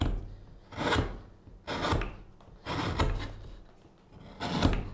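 A gouge is pushed into the bowl of a solid pale wooden spoon blank lying on a cutting mat, scraping out the wood. Four rasping, bright scrapes rise and fade one after another over a low, dull undertone, each with a short, dry finish.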